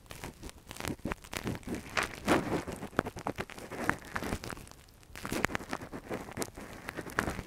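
A gloved hand scratches inside the hollow canal of a soft, translucent silicone ear-model microphone cover with a thin metal earpick. Close, dense crinkling and scraping bursts come in quick irregular runs, and the sound drops quieter for a brief pause around the middle before the scratching resumes.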